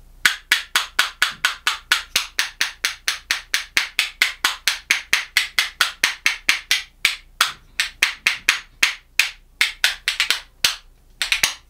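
A pair of dark solid Indian rosewood percussion spoons, held in one hand, is knocked rhythmically against the hand and knee. About 46 sharp, dry, bright clacks with very little ring come at roughly two per second in a loose, uneven rhythm. Toward the end, a few short pauses and some quicker double hits break up the pattern.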